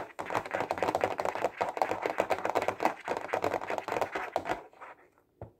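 A clear plastic Stabilo case holding 15 highlighters is held horizontally and tapped quickly with the fingertips. The result is a rapid, uneven patter of short, dry plastic clicks centred in the midrange. The tapping stops after about four and a half seconds, and one last soft tap follows near the end.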